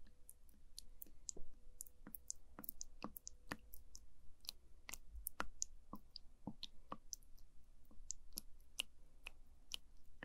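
A wooden spoon pokes and stirs the surface of orange, sticky jelly pudding in a small translucent plastic cup. It makes a steady run of short, sharp, bright sticky clicks that stop instantly, peaking around 2.9 kHz. They play over a quiet, low background rumble with a faint steady tone in the first few seconds.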